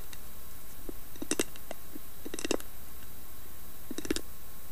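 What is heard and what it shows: Long nails tap and scratch the carved lid of a hollow, round carved wooden box with a lid. Quiet, sharp clicks with bright edges come in small clusters over a steady low background hum.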